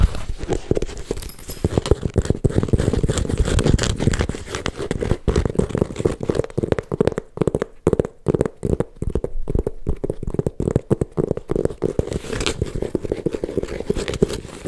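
A small silver snakeskin-embossed leather handbag is held close and its scaled surface is scratched and tapped with fingertips and long nails. Dense, dry, low-heavy tapping and scraping clicks continue throughout, with denser scratching early and sparser, more separated taps in the middle.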